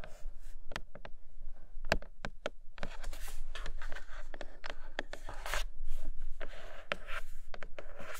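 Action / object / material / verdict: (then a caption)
scrape / cardboard box with clear plastic window / cardboard / none. Long nails scratch and tap on the clear plastic window of a flat grey cardboard box holding a red tablet case. Dry scraping and rustling are broken by sharp, quick taps that fade almost at once, with a steady low rumble underneath.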